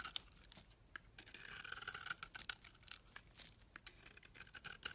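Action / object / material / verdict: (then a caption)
scrape / bar of soap scraped with a metal blade / soap / none. A metal blade scrapes the white face of a solid red-and-white bar of soap held in the hand, peeling off curls of soap. The sound is a quiet, bright, dry rasping, made of quick scratchy strokes that swell and fade with almost no low end.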